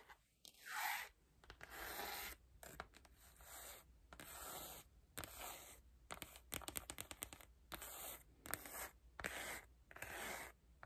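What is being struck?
Cloth-covered hardcover book cover.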